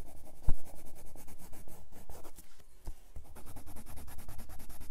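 A red colored pencil held in the fingertips rubs across a grey paper sketchbook page in fast, dense strokes, making a continuous, rhythmic scratching with a bright, papery hiss. A sharper tap stands out near the start, and the strokes pause briefly before picking up again at a steady pace.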